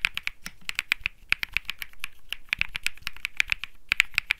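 Fingertips type continuously on a cream Think 6.5 mechanical keyboard with plastic keycaps and Bsun Lollipop switches, producing about 28 quick, dry clacks. Each press snaps sharply with almost no ring, its bright click centered around 2.4 kHz and a light low thud beneath.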